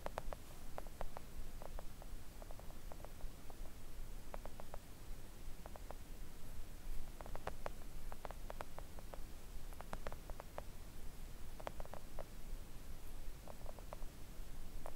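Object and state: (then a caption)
Silicone nail art mat. Long acrylic nails of both hands gently tap on a flat, thin, solid pink silicone nail art mat resting on a table. Soft, dull little clicks come in quick irregular clusters throughout. They sit over a steady low hum and faint hiss.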